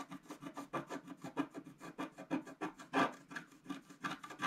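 A wooden stylus scratches the remaining black coating off a large planet drawn on a flat black-coated scratch-art paper sheet. About 16 quick, dry rasping strokes follow one another in a steady back-and-forth rhythm, each a short papery scrape centered around 1.2 kHz with bright edges. The strokes are quiet and stop almost immediately after each pass.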